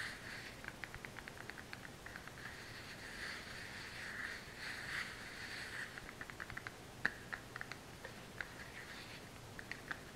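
A small, hollow, brown kraft cardboard supplement box is tapped and scratched with long fingernails, making quiet, dry, rapid clicks and soft scratching. About two dozen short, crisp taps stand out, with a papery rustle centered around 1.7 kHz and a bright hiss between them.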